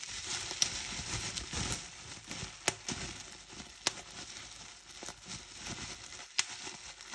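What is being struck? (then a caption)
Plastic bubble wrap. Clear plastic bubble wrap is bunched in both hands while fingers with long painted nails squeeze it and pop bubbles. A steady, bright crinkling rustle runs throughout, broken by several sharp, short pops spaced apart.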